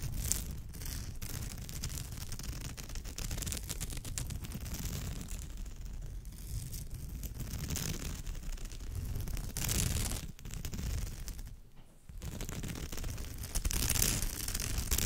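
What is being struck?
Woven straw bag.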